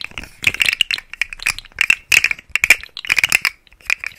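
A rainbow segmented plastic articulated fidget slug toy is held in the fingers and flexed close to the mic, its hollow segments clicking. Bursts of rapid, dry, bright clicks and rattles carry a tonal edge near 2.4 kHz, with very little low end and almost no ring after each click.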